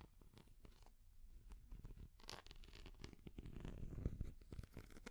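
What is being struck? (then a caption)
Small hard plastic cat figure. A small translucent orange hard plastic cat figure is tapped and scratched with long nails. Quick, irregular clicks and scratchy rasps run throughout. The taps stay close and dry, with most of the weight low and only faint brightness.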